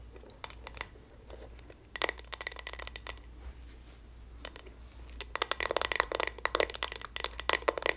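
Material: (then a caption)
Plastic. Long nails scratch the bristles and tap the hollow plastic back and handle of a pink and white patterned plastic paddle hairbrush with a black rubber cushion and bristles. Quiet, crisp clicks and bright scratchy crackles come in scattered bursts over a faint low hum. They grow denser and louder toward the end.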